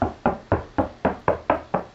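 Eight evenly spaced knocks on a drywall ceiling between two trusses, each a short hollow thud with a quick decay. The hollow sound marks an open bay with no framing, where speakers can be cut in.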